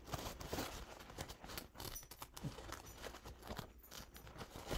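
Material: Paper.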